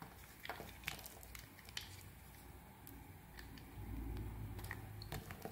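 A small metal blade, guided by a tape-wrapped thumb, scrapes and carves thin flakes off a hand-sized solid white soap bar held in the hand, with shavings on the table around it. Quiet, irregular scraping and crisp little cuts sound in quick succession over a low rumble, with brief bright clicks. The rumble grows louder toward the end.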